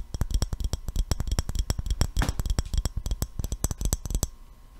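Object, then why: Glass jar with metal screw lid. An empty clear glass mason jar with a gold metal screw lid is held in the hands and tapped rapidly with the fingertips and nails. It gives a steady run of short, dry taps, each with a deep hollow thump and a faint bright glassy tick. A brief scratchy rub sounds midway, and the tapping stops just before the end.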